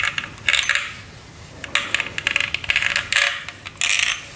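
Fingernails tap a hollow, clear acrylic light-up LED snowman figure with a red scarf as it is held. Short bursts of quick, bright plastic clicks and ticks come in clusters with brief pauses between them. Each tap has little low end and a very short ring centered around 2.2 kHz.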